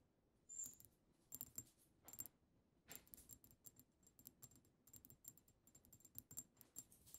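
Long acrylic nails on both hands tap the front of a pink-tinted glass perfume bottle labeled "Sweet Secret," heard close up. Quick, bright clicks come in scattered bursts and clusters, each with a faint high glassy ring that dies away almost at once.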